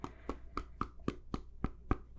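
A hand gently knocks on a hard, flat table surface, making nine soft, evenly spaced knocks. Each knock is short and dull with almost no ring, and most of the sound sits in the low frequencies.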